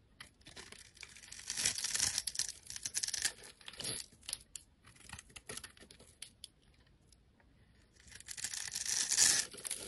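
A utility knife blade cuts small cubes from the surface of a solid, rectangular, orange-pink soap bar held in the hand. The scraping and cutting make crisp, bright, crackly crunching and tearing sounds in irregular bursts, loudest around two and nine seconds. A quieter stretch falls between them.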